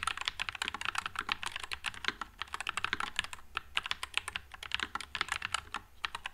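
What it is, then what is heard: Mechanical keyboard with plastic keycaps. A white low-profile Nuphy Air96 mechanical keyboard with Wisteria switches and plastic keycaps is typed on continuously with the fingertips. Rapid, crisp, bright clacks run in an uneven stream, each one dying away almost instantly with very little low-end thump.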